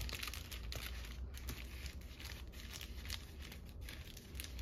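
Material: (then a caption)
Paper. A flattened red-and-white polka-dot paper lantern with a hollow centre ring is held in both hands while long nails scratch and tap its pleated paper. Bright, dry crinkling and scratching rustles continue throughout, with quick papery taps over a steady low rumble.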